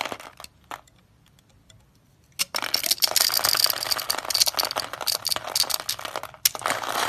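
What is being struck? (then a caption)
Soap bar cut with a blade. A utility knife blade scrapes and crunches small cubes off a solid, hand-sized, olive-tan dry soap bar scored in a grid. A few sharp crunches and sparse quiet scratches come first, then from about 2.4 seconds a dense, bright, crackling run of dry crunching fills the rest of the clip.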